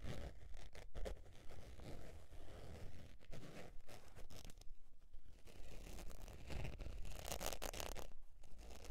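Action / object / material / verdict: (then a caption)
scrape / faux leather zip wallet / faux leather / none. Long nails scratch the textured surface of a beige faux leather zip wallet, first while it is held and then once it is laid flat. The result is a quiet, steady run of raspy scratches and scrapes, with brief brighter bursts over a low, dull rumble.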